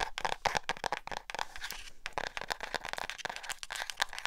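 Long acrylic nails tap and scratch the cover of a small black hardcover spiral notebook with an elastic band, held close to the mic. A rapid run of crisp, bright clicks blends with dry, crinkly scratching centered around 1.6 kHz, and each tap dies away instantly with no ring.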